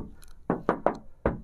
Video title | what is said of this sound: DI JUAL CEPAT!! CANTER 2019 PS 125 HD ORISINIL HARGA MAHAL TAPI TIDAK BUAT KECEWA!!! | masih kaleng brengbreng ya teman-temannya masih ori semua belum pernah dicat